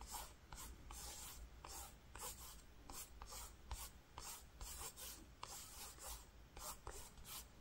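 Fingertips with short nails scratch and tap across a flat, grey-green woven cotton fabric while tracing words on the cloth. About thirteen bright, brushy scratching strokes stand out over a steady low hum.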